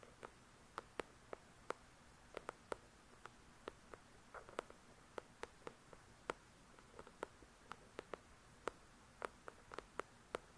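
Long pointed nails tap and scratch the glossy card cover of a solid paper paperback novel, "The Shack," up close. Many short, crisp clicks with almost no ring scatter irregularly over a faint hiss, with a brief soft scratch near the middle.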